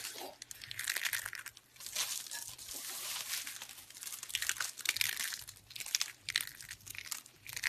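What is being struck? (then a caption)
Dried soap curls. A handful of thin, curled, brittle strips of dried pink soap is squeezed and crushed in the hands with the fingertips. The solid soap gives dense, bright, crackling crunches in uneven bursts, with brief pauses between squeezes.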